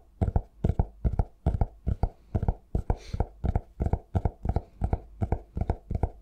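A cork-covered notebook, held upright, has its cover and edge tapped with fingertips. Quick, steady pairs of soft, dull, low thuds repeat, each dying away almost at once with a faint brighter click on top.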